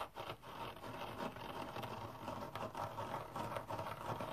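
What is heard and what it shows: A hand-sized rectangular kitchen sponge with a red abrasive synthetic fiber scouring layer, held on a towel, is scratched dry with nails and fingertips. The result is a continuous, soft, dry scratchy rustle centered in the midrange, with uneven brief brighter scrapes rising and falling throughout.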